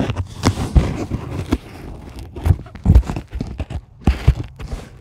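Long acrylic nails scratch and dig into the surface of a white polyethylene packing foam sheet resting on a table. The result is an irregular series of dull, crinkly scrapes and soft squeaky bursts, heavy in low thuddy tones with faint bright streaks.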